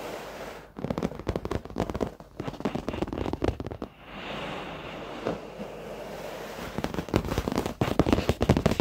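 Fingertips and short nails of both hands tap rapidly on the dark padded leather seat of an office chair, soft over foam, making dense bursts of dull, muffled pats with a low body around 300 Hz. The tapping briefly pauses into a quieter, steady rustling stretch mid-clip before rapid tapping resumes more loudly at the end.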